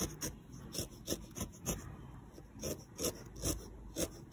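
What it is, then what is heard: Wool felt figure being needle-felted. A small, solid felted wool figure, held by the fingertips with its lavender underside showing, is poked repeatedly with a felting needle. Each stab makes a short, dry, raspy crunch with a bright fibrous edge, spaced irregularly over a soft, steady rubbing hiss.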